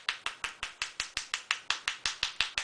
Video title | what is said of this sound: DIY HEART SHAPED BATH BOMBS | tapping it, you can hear it releasing. You see how the sound has changed?